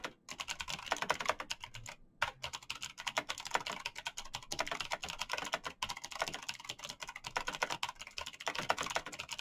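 Fast typing with bare fingertips in fingerless knit gloves on a full-size black plastic mechanical keyboard with clicky switches and backlit keys. A rapid, continuous stream of sharp, bright clicks runs throughout, with only brief pauses near the start and around two seconds in.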